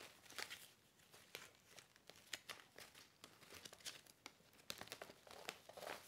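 A medium black-and-white striped paper gift bag, hollow with white tissue paper inside, is handled, opened and folded with fingertips and nails. It makes quiet, bright crinkling and crackling with many short, sharp snaps over a soft rustle. The sound has almost no low end.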